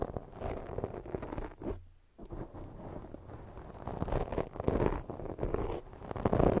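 Long fake nails scratch fast up and down the sides of a soft, porous black foam microphone windscreen. The result is a dense, continuous scratchy rustle with strong low rumble, a brief dip into near-silence around two seconds, and then louder scraping toward the end.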